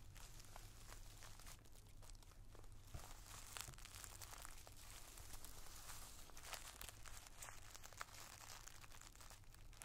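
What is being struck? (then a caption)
Plastic zip bag filled with tissue paper. The tip of a wooden drumstick pencil taps and scratches a clear plastic zip-top bag full of multicolored tissue paper squares, held flat with one hand. Quiet, dense crinkling and scratchy rustles are broken by sharp, bright little taps over a steady low hum.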